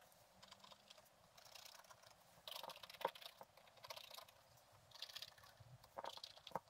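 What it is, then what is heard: Scratch-art paper being scratched. A thin wooden stylus scratches along the top edge of a flat page of black-coated scratch-art paper with a gold underlayer, lying in a book. Quiet, dry, bright rasping strokes come in short bursts, with a few sharper clicky ticks around the middle and the end. There is no ring after each stroke.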